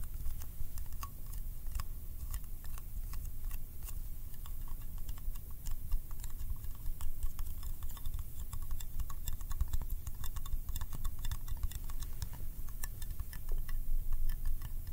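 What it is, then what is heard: Metal candy tin. A small round yellow metal candy tin, held in one hand, is tapped quickly with the fingertips and nails of the other. The result is a steady stream of rapid, light clicking taps over a low background rumble.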